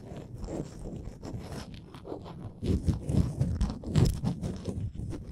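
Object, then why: Small wooden ornament. Long nails scratch the ridged edges of a small, solid, printed wooden Canada souvenir ornament. The result is a dense, irregular run of dry, crunchy scrapes, heavy in the low end, which grows louder and rougher about halfway through.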